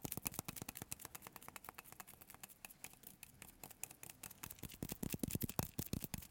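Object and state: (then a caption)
Bar of soap. Short fingertips tap quickly on the surface of a solid, palm-sized yellow bar of Marseille soap embossed "Citronnelle," held in both hands, in a sticky tapping motion. The result is a fast, continuous run of crisp, bright clicks with soft low thuds and almost no ring, growing louder and fuller near the end.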